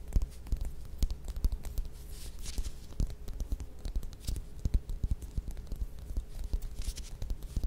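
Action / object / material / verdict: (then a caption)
tap / whole mandarin orange peel / citrus peel / none. Long nails tap and scratch the peel of a small whole mandarin orange held in the hands. The result is a quiet, rapid patter of soft, dull taps and short scratchy strokes. Each sound dies away almost instantly over a faint steady low hum.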